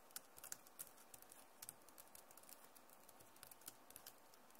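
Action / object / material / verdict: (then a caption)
tap / plastic laptop keyboard keys / plastic / none. Long nails tap rapidly on the plastic keycaps of a backlit Acer laptop keyboard. Quiet, sharp, bright clicks come at an uneven pace with no ring after each one, over a faint steady hiss.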